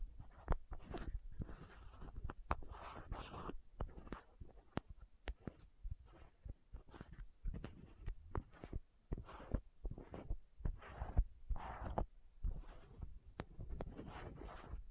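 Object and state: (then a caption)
Plastic contact lens case. A small hollow plastic contact lens case with green and white caps is held close to the mic while fingertips and long nails tap the caps and twist the lids. Quiet, dull low thumps mix with short, sharp clicks and brief brushing scrapes in an irregular stream, each tap dying away almost at once.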